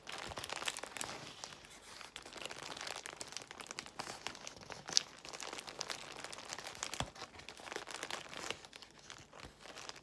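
Long nails scratch and fingertips squeeze the air bubbles of a large bundle of clear plastic bubble wrap. The result is a steady, bright crinkling with dense crackles throughout and one sharp, louder click about halfway through.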